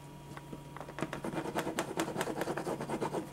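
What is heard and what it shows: A black pen held in the fingers scratches and hatches lines across a thin white paper sheet lying flat on a dark surface, while the other hand holds the sheet still. Quiet, dry, scratchy strokes repeat in a quick, uneven rhythm, building after the first second into a series of short, bright scrapes over a faint steady low hum.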